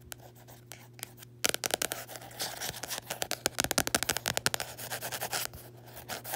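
Long nails scratch and rub over the embossed printed letters on the matte textured card cover of a closed small paperback, *On Tyranny*. A few faint scratches give way after about a second and a half to a dense run of sharp, bright, dry scrapes. Around the fifth second these settle back into softer rubbing, all over a faint steady low hum.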